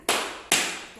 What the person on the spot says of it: misalnya kita bunyikan, tuh bunyi tidak? Bunyi kan? Ini benda padat.